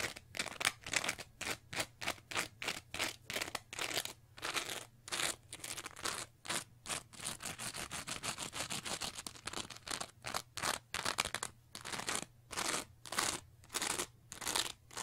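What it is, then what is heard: Textured foam sponge being scratched. A small teal foam sponge with a diamond-pattern textured face is scratched with long nails and squeezed with the fingers. The result is a fast run of dry, crunchy scratching strokes, bright and hissy and centered around 2.3 kHz, with almost no low end and short gaps between bursts. A faint steady low hum sits underneath.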